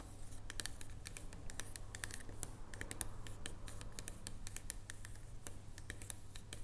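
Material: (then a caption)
Chocolate. A solid dark chocolate bar lying on a table is tapped rapidly with long nail tips in a typing-like motion. Quick, irregular, bright clicks patter across the clip, each dying away at once, over a steady low hum.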